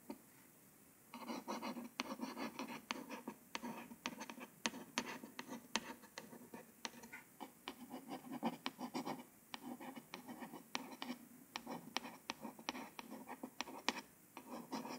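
A long nail tip scratches and traces the small printed text on the glossy cover of a hardcover paper book. After about a second of quiet, a steady, dry scratching begins, with a warm low-mid body and a bright, crisp top. It is punctuated by many sharp, short ticks as the nail catches and taps along the surface.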